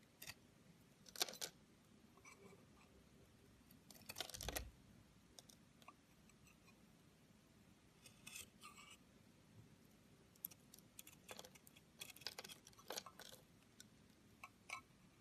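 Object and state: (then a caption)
Bar soap being carved with a knife. A solid pink oval Camay soap bar is held in the fingers while its edge is scraped and carved with a metal knife blade, and pink shavings fall onto a white surface. The clip is quiet, with short, bright, crisp scraping and cutting strokes that come in irregular bursts and die away almost at once.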